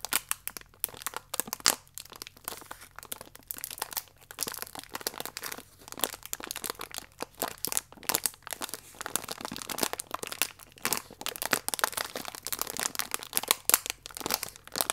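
A single biscuit in a crinkly plastic wrapper is held upright while fingertips squeeze it and nails scratch the film. This makes a steady stream of sharp, bright crinkles and crackles with almost no low end, each snap dying away quickly.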